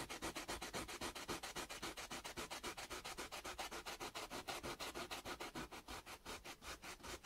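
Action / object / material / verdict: scrape / raw carrot piece on sandpaper / carrot / none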